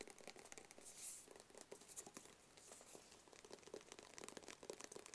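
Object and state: Cardboard gift box tapped with fingernails.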